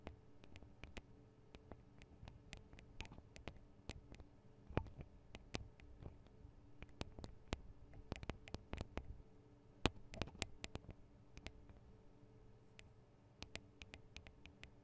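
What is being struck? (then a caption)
Metal microphone capsules on a handheld recorder. Long decorated acrylic nails of both hands tap the small hollow metal microphone capsules of a Tascam DR-40 handheld recorder. The result is a quiet, irregular stream of sharp, very short clicks with bright tips, heard over a low, steady hum.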